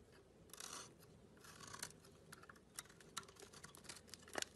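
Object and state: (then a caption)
Bar of soap being carved. A metal utility blade scrapes and carves a solid, hand-sized blue bar of soap with a white core, making flakes fall off. Quiet, bright scraping strokes and crisp clicks repeat unevenly, with a longer rasping scrape early on and sharper cuts near the end.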